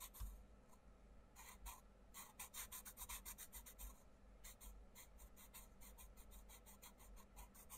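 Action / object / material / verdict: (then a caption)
scrape / wooden pencil on thin paper page / paper / none. A wooden pencil scratches and rubs colour onto a thin paper page of an open colouring book lying on a table, while the fingers of the other hand press the page flat. Quiet, rapid bursts of bright, raspy strokes come in quick runs over a soft low rumble.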